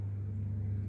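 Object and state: Nothing is struck.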